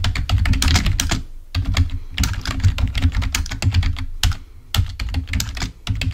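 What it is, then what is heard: Plastic computer keyboard being typed on. Fingertips of both hands type rapidly on a full-size black plastic Microsoft keyboard resting on a table. The result is a dense stream of short, crisp key clicks with a deep, thumpy low end. The typing comes in bursts separated by brief pauses.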